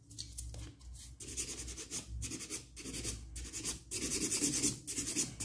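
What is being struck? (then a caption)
Acrylic nail extension. A nail file is drawn across a solid stiletto acrylic or gel nail extension in quick, short strokes, giving a bright, scratchy rubbing sound. The strokes come in an uneven rhythm of hissy bursts that grow louder over the last second and a half.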